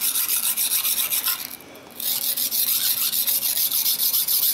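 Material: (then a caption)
Steel, stone. A large steel kitchen knife blade is held flat, with fingertips pressing on it, and pushed back and forth across a long, solid, dark rectangular whetstone lying on a tiled floor, with a wet blade and a water bowl nearby. It makes steady, bright, rasping scrapes of steel on stone, about fourteen strokes in quick rhythm. There is a brief quieter pause midway before the strokes resume.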